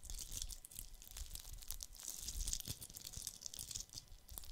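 A fist-sized, hollow, red glitter-coated plastic Christmas bauble is held in both hands and scratched with fingertips and nails. The result is a dense, continuous scratchy crackle with a bright, high hiss over a soft low rumble from handling, with quick dry clicks that stop almost at once.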